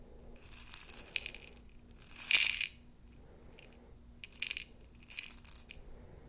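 A glass jar holding plastic beads is shaken and handled, giving a bright rattling and clinking in several bursts, loudest in a short swell near the middle. The sound is almost all high-pitched with little low end, and each clatter dies away quickly.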